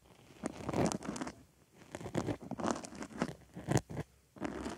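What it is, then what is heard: Foam sponge being scratched. A wooden stick scratches and pokes in the center hole of a white foam makeup sponge resting on a microphone ear. Close, crunchy, rustling scrapes come in uneven bursts separated by brief quiet gaps, with a soft low rumble beneath.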